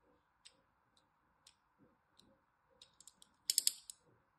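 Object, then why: Bar of soap scored with a thin blade. A thin blade scores a few lines across a solid orange-and-white striped bar of soap held in the hand. Quiet, crisp, high-pitched clicks and short scratches sound over a faint steady hiss, ending in a louder, brighter burst of scraping.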